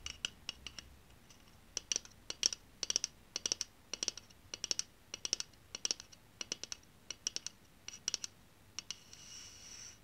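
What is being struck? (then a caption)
Aluminium aerosol deodorant can. A pink, hollow aluminium aerosol deodorant can is held in one hand and tapped with the long painted nails of the other. It gives a quick, uneven series of sharp, bright, metallic clicks with a thin, high ring that dies almost instantly. The taps end in a brief, soft, high scraping hiss.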